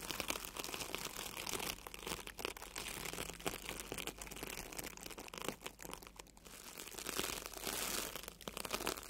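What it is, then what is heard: Foam sponge being brushed. A small wire-handled bristle tube brush brushes and scratches across a solid, soft red and yellow porous foam sponge. The result is a steady, dense run of bright, crinkly scratching and rubbing strokes, with little low end and no ring after each stroke.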